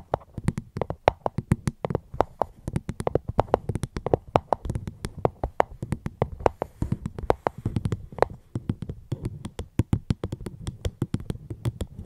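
Fingertips tap on a fruit box held close to a microphone, producing a continuous stream of short, dry, hollow taps. The taps have a low, thumpy body and very little high-end or ringing, with a soft, steady rhythm throughout.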